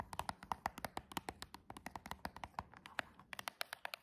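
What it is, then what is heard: Cardboard box with plastic window tapped by nails. Long jeweled nails tap rapidly on the plastic window of a silver cardboard nail box, then on its cardboard edge. The result is a quick run of about 30 crisp, dry clicks with a bright tone near 940 Hz, and each click dies away almost instantly.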